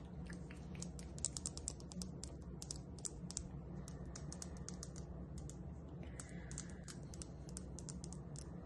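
A small, solid, polished, spotted tumbled stone, resembling dalmatian jasper, is held between the fingers and tapped and scratched with long acrylic nails. Quick, bright clicking taps come in a dense, irregular patter with brief soft scratching between them, over a steady low hum.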